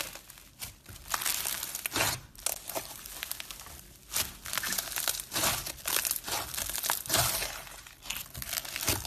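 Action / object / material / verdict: scrape / slime packed with small foam beads / foam beads / none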